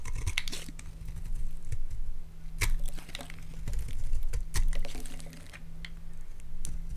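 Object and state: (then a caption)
Bar soap being carved. A utility knife blade carves brittle flakes from the face of a solid rectangular white Palmolive soap bar held in the hands. Short dry scraping crunches and crackles repeat over a steady low hum, each one fading quickly.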